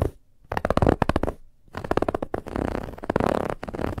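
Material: Fabric.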